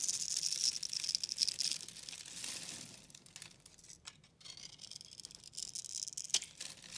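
A solid rectangular white soap bar with a cross-hatch scored face is held in hand and cut and scraped with a pink utility knife blade, sending crumbs falling. Dense, bright crunchy scraping and crackling fill the first few seconds, then quieter, sparser crunches follow, with one sharp crack near the end.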